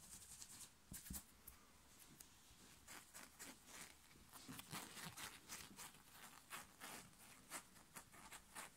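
Fingertips and nails scratch and grab a black short-sleeve knit fabric t-shirt worn on the chest, fast and aggressively. Quiet, bright, dry scratching and rustling come in rapid bursts, with a few sharper grabs standing out.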